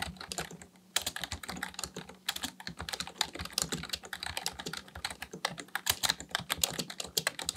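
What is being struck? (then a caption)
Plastic membrane computer keyboard. Fingertips of both hands type continuously on a black plastic full-size membrane keyboard (Dell KB1421) with a hollow housing resting on a desk, pressing and tapping keys. Rapid, bright, clacky key taps die away almost instantly, with brief pauses near the first and second seconds. A faint steady low hum sits beneath the typing.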